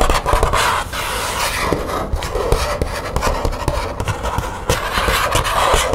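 Long nails scratch along the surface and edge of a thin green matte plastic folder with metal grommets. The result is a steady, dry, rasping scrape broken by frequent quick ticks and clicks, with a bright hiss over a low rumble.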